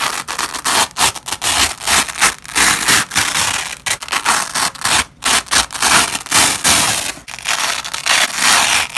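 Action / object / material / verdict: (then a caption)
scrape / nylon hook-and-loop (velcro) strip / nylon / none. A yellow and white nylon hook-and-loop (velcro) strip is pulled apart with both black-gloved hands, making a ripping sound. Repeated bright, crackling tearing bursts follow each other with brief gaps, carrying almost no low end.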